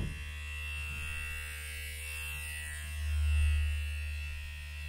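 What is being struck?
Nothing is struck.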